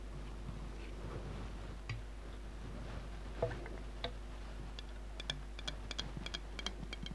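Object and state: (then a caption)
Glass jar of glitter water. A large, full glass jar of red glitter water is tilted in the hands and tapped with long painted nails on its glass walls and bottom. Sixteen short, bright, dry ticks come at uneven intervals, growing quicker toward the end, over a quiet, steady low hum.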